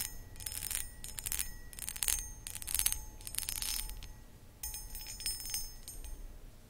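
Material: Crystal glass.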